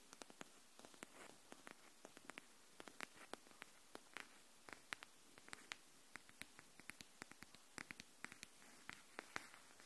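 Long nails tap the spine edge of a pink hardcover notebook held horizontally. Many quick, sharp clicks with bright high content repeat at an uneven pace over a faint steady hiss. Each tap dies away almost instantly at a quiet overall level.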